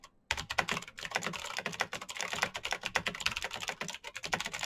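After a brief pause, fingertips type fast on a black Razer BlackWidow mechanical keyboard with plastic keycaps on clicky green switches. It makes a dense, continuous stream of sharp, bright clicks with very little low end, each one dying away almost instantly.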